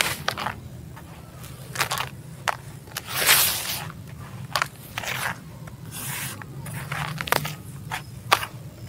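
A bare hand drops handfuls of dry, gritty sand-cement crumble into a teal tub and rakes through the loose pile. Bright, gritty scrapes and crunchy crackles come in short, sharp bursts, with a longer hiss of sliding grit in the middle. A faint, steady low hum sits underneath.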